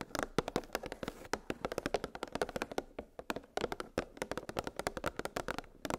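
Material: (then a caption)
Plastic. Long pink nails tap rapidly on a clear, hollow plastic clamshell that holds nested metal gingerbread cookie cutters on a cardboard backing. The result is a quick run of dry, hollow clicks with a midrange body, a bright top and almost no ring. Brief pauses break the run into uneven bursts.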